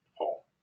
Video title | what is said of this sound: How to Perform a Home Inspection Class #29 with Ben Gromicko | i'm going to tap that it has leaked it has holes i just want to see if it's really weak and it is